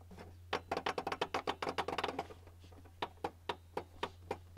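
Fingertips and nails of both hands tap on the flat top of a white plastic Canon printer, a hollow housing. A quick, uneven flurry of short, dry, hollow clicks is followed by slower, evenly spaced single taps over a steady low hum. Each tap dies away almost instantly.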